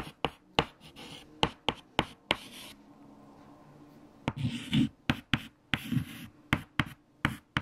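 White chalk held in the fingertips writes equations on a large, flat black chalkboard, making 15 sharp, bright taps with scratchy strokes between them. A quieter stretch of soft scraping comes in the middle, then the tapping and scratching pick up again.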